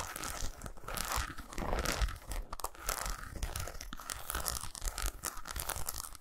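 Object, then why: Milk chocolate bar. Long pointed nails scratch and tap fast on a solid milk chocolate bar of eight squares lying on a towel. The result is a dense, continuous stream of crisp, dry scratches and quick taps with a bright, crackly edge over soft, dull low thuds.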